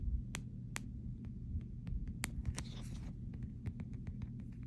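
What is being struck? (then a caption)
Clear plastic phone case. Long pink nails tap and scratch the back and rails of a clear plastic phone case, producing sharp, bright clicking taps over a steady low hum. A short scratchy rasp sits among the taps near the middle.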